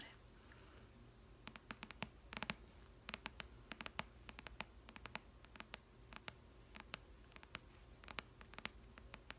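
Long red nails tap rapidly and irregularly on the glossy card front cover of a thick paperback novel, Twilight. The taps are quiet, dry, bright clicks that stop instantly, heard over a faint, steady low hum.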